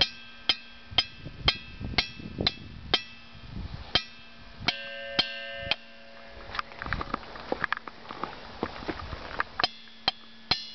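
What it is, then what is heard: Ringing boulder. At Ringing Rocks State Park, a hammer repeatedly strikes a boulder. Each hit gives a bright, bell-like metallic ping, high-pitched around 3 kHz, rather than a dull thud. The hits come in a steady series at first, then turn into a busier, irregular stretch of lighter taps, and the boulder clearly rings.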